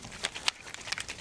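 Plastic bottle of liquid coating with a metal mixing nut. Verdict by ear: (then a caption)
Mixed. A plastic bottle of leather coating is shaken with a metal mixing nut inside, producing sharp, bright clicking rattles as the nut knocks around freely. The clear rattle means the settled sediment has loosened and the product is mixed.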